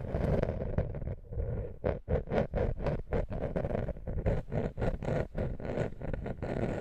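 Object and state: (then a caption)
Wooden lattice coaster. Long nails scratch a small, flat, woven wooden lattice coaster close to the microphone. The sound is a steady run of quick, uneven, dry raspy strokes with a rough, low-heavy texture. Each stroke is short and fades almost instantly.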